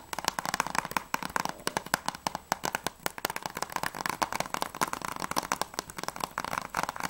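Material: Plastic.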